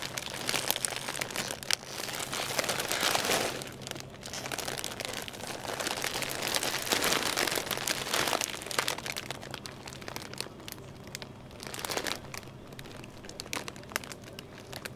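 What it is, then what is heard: Plastic multipack chip bag. A hand with long nails grabs and squeezes a large, full purple plastic multipack bag holding 18 small chip bags in a store aisle. The result is a continuous, bright, crinkly plastic rustle with sharper crunching bursts, rising and falling over a steady low background hum.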